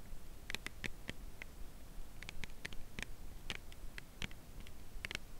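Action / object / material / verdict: tap / cardboard chocolate bar box / cardboard / none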